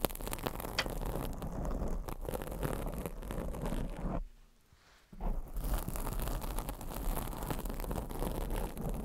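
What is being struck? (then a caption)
Foam microphone windscreen. Long acrylic nails scratch a black foam microphone windscreen, making a dense, rough rustling and scraping noise that is heavy in the low end. The scratching runs continuously, drops to near silence for about a second, then resumes just as thickly to the end.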